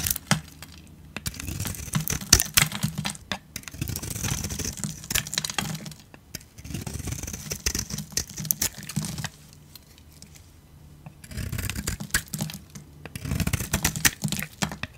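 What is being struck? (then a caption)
Bar of soap. A hand-sized solid bar of soap, pink outside and white inside, is held in one hand and scraped and carved with a metal utility blade. Dry, crunchy scraping and crackling comes in dense bursts with bright, gritty texture and a low rumble beneath, broken by short pauses, including a longer quiet gap near the middle.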